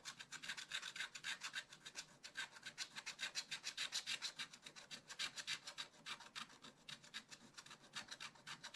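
A wooden stylus held in the fingers scratches the black coating off a scratch-art page in a spiral-bound book lying flat on a table. Dozens of quick back-and-forth strokes make a bright, dry rasping scratch with almost no low end, pulsing in an uneven rhythm for the whole clip.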